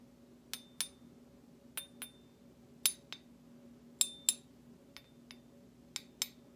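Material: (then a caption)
Stainless steel. A metal utensil handle taps and scrapes against the bowl of a large stainless steel slotted serving spoon with a decorative cut-out pattern. The taps come as bright, high-pitched metallic clinks, mostly in quick pairs, each ringing briefly over a faint, steady low hum.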